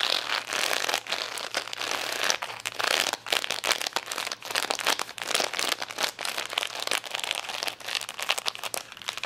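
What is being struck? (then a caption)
Plastic rhinestone sticker sheet. Long nails scratch across the gems of a plastic rhinestone sticker sheet resting on a towel, with some handling of the sheet. The result is a steady stream of bright, crinkly scratching and quick clicks with almost no low end, and a faint low hum underneath.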